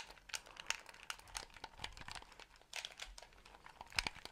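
A small white hollow plastic gamepad is held in both hands close in front of the microphone and near the ear while fingertips tap its shell and press its buttons. The result is a quiet, irregular run of bright, dry clicks and crinkly taps with almost no low end and no ring after each touch.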